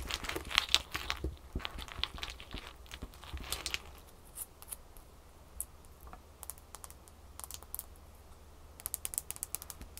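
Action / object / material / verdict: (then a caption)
tap / ice cube tapped with fingernails / ice / none. A small solid ice cube, picked up from a pile on a towel and held in the fingers, is tapped with long fingernails. Bright, crisp clicks come quickly over a crinkly rustle for the first few seconds, then thin out into scattered irregular taps. A faster cluster of taps comes at the end, all over a faint steady low hum.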